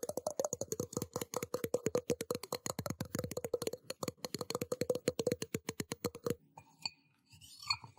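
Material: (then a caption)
Stainless steel. A small, hollow, empty stainless steel tumbler cup, held in both hands near the microphone, is tapped rapidly with fingertips and nails. The quick, short metallic clicks share a tone around 500 Hz for about six seconds, then give way to faint scratching and rustling.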